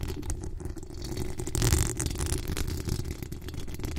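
Long acrylic nails scratch the hollow steel mesh grille of a pink decorated microphone. The result is a dense, continuous rustling scrape over a heavy low rumble, with a brighter, louder swell near the middle before it settles back into steady scratching.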